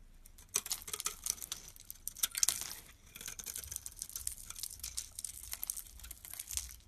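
A utility knife blade shaves and crumbles the surface of a yellow rectangular bar of solid soap with an embossed logo, held in the hand. The result is a dense run of crisp, bright scraping and crackling with quick, dry ticks and almost no low end. A louder flurry comes near the start, then a steadier, softer stretch of shaving follows.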